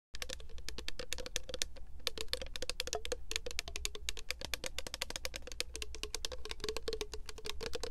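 Long acrylic nails tap rapidly and continuously on a tall, clear plastic Victoria's Secret body mist bottle with a green printed pattern and a gold cap, held in both hands, hollow and partly filled with liquid. The result is a dense stream of sharp, bright clicks with a faint hollow ring, over a steady low hum.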